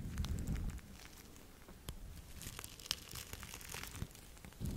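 Red fabric gloves covered in small plastic sequins, worn on both hands, are rubbed and brushed close over a camera lens. The result is a dense, irregular crinkling and rustling with many quick, bright ticks over a heavy low rumble that is loudest at the start and end.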